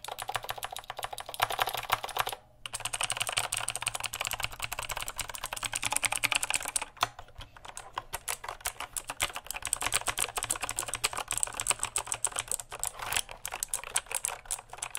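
Fingertips type fast on the plastic keycaps of a full-size backlit mechanical keyboard held behind the mic. The sound is a dense stream of bright, dry clicks and clacks with very little low end. There is a brief pause near 2.5 seconds and a looser patch around 7 seconds.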